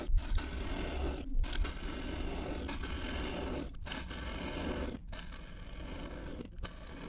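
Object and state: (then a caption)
Kinetic sand dome being sliced. A steel kitchen knife held in the hand slices repeatedly through a palm-sized solid orange dome of packed kinetic sand. Each cut makes a soft, gritty scraping sound over a steady low rumble, broken by brief quiet gaps between strokes.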